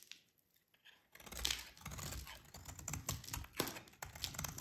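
A metal utility blade carves and scrapes crumbly chunks from a solid, dry, yellow oval bar of soap held in the hands. After a near-silent first second, a dense run of bright, crackly scraping and crunching follows, with short sharp snaps as pieces break away.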